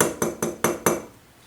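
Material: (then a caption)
Hard plastic. An original Nikon battery grip for the D800, made of hard, durable plastic, is tapped five times in steady succession. Each tap gives a short, solid knock with a slightly metallic edge that fades quickly, showing the grip sounds solid.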